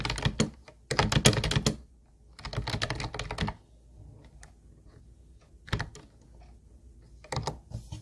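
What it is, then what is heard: Plastic keyboard typing. Both hands type with their fingertips on a teal plastic Ubotie keyboard with round white plastic keys, giving hollow, clacky keystrokes. The typing comes in quick, uneven bursts separated by quiet pauses, with a low body under bright clicks, followed by a few shorter flurries.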